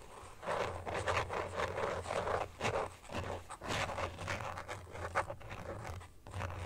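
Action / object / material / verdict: scrape / plastic phone case with carbon-pattern back / plastic / none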